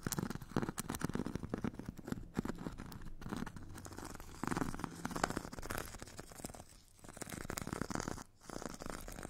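A metal stick tip scratches the purple abrasive grit layer of a solid hand-held foam foot file with a white foam core. The scratching is a dense, continuous rasp of fine, bright grainy strokes with a low rumbling undertone. It eases into brief quiet gaps near 7 and 8.3 seconds before resuming.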